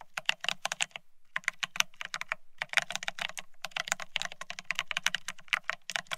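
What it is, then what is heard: Plastic ergonomic keyboard being typed on. Fingertips of both hands type fast on a full-size beige split ergonomic keyboard with plastic-looking keycaps. The result is a rapid, bright run of short, dry clicks that stop briefly around the first and third seconds, with a faint low thump under each burst.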